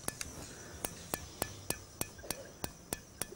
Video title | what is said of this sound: sculpture village tengenenge blues 1 | it sounds like metal like iron